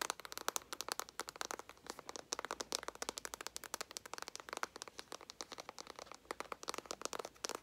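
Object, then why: Small flat cardboard eyeshadow palette. A small, flat, hollow cardboard eyeshadow palette with a green and gold "NUDE" print is held in both hands and tapped rapidly with long nails and fingertips. The result is a quiet, dense stream of dry, crisp clicks and light crackly taps, bright and papery with no low end. Each tap stops almost instantly.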